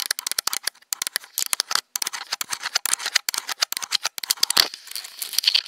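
Long nails rapidly tap and scratch the hollow plastic body and lens barrel of a black Nikon DSLR camera. The result is a dense, irregular stream of short, dry, bright clicks and scrapes with almost no low end and no ring after each hit.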